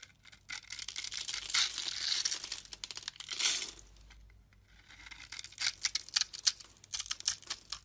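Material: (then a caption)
Soap. A metal utility-knife blade scrapes and slices the edge of a solid, hand-sized brown bar of soap, stamped with a logo and scored in a grid, held in one hand, so small soap cubes break off. Bright, dry scraping and crisp crackling cuts come in bursts, with a brief quiet pause midway before a run of sharp, snapping slices. The audio is 8D-processed.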